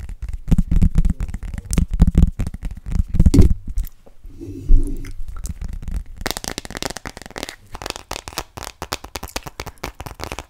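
Long nails tap an empty, clear plastic glitter phone case with a thin shell, turning it edge-on at the end. Quick, uneven clicks with a dull, low-heavy thud are followed by a brief lull. The tapping then returns as a brighter, crackling patter of dense clicks.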